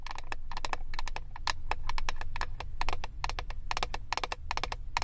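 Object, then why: Clear plastic palette lid tapped with acrylic nails. Long acrylic nails tap rapidly on the clear plastic lid of a flat eyeshadow palette. Quick, crisp clicks with a bright edge and a hollow midrange knock come in an uneven stream over a steady low rumble. Each tap dies away almost at once.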